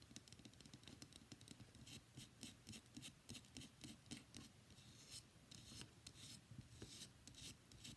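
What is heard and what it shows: A palm-sized, solid cream-white bar of soap with embossed text is scratched and rubbed with fingernails across its surface and edges. The result is quiet, rapid, irregular scratching strokes, about three to four per second, with bright crisp highs and a soft low rumble beneath.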